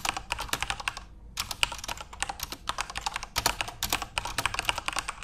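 Fingertips type continuously on a backlit plastic Corsair mechanical keyboard with RGB lighting. A steady stream of sharp, bright key clicks dies away almost instantly. The typing pauses briefly just after the first second.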